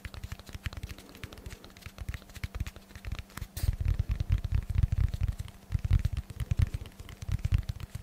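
Fingertips tap rapidly on a solid, rectangular, dense black foam block held with both hands above the microphone. The taps are soft, deep, muffled thumps that die away instantly, arriving in quick, uneven clusters over a faint steady low hum.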